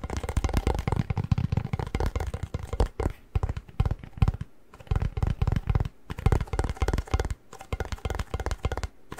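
Fingertips and nails tap the plastic lid and side of a tall, hollow, apparently empty cardboard Pringles tube held in one hand. The result is a rapid, uneven stream of short, dull, hollow thumps that are mostly low and boomy. The taps come in bursts with brief pauses and almost no ring after each one.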